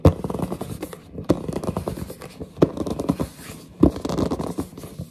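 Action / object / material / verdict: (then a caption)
scrape / cardboard box / cardboard / none. Long nails scratch and grip the printed surface and edges of a large, hollow cardboard headset box held up in the air. Dry, low, hollow scraping and rubbing comes in dense bursts, broken by a few louder grips.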